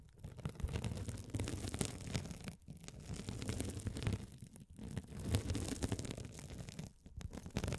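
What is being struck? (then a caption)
Mesh-covered scouring sponge. A hand-sized blue scouring sponge with a sparkly woven glitter mesh cover, soft and solid, is held over the microphones and scratched by a rolling gold metal spiked roller. The result is a dense, continuous crackling scratch with a strong low rumble, running in uneven surges with brief drops in between.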